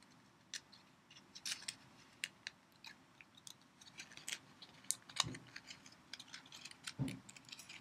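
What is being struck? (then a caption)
Foil sweet wrapper. A small red and gold foil-wrapped sweet is held in both hands while its foil wrapper is crinkled and scratched with fingertips and long painted nails. The result is a quiet run of sharp, bright crackles and ticks, mostly high-pitched, each dying away almost instantly. A couple of slightly fuller rustles come near the end.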